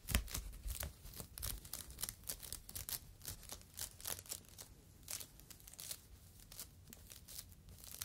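A yellow polyethylene foam fruit protective net, a mesh sleeve held in both hands, is crinkled and rubbed with the fingertips. It gives a quick run of dry, bright crackles and soft rustles over a low steady hum.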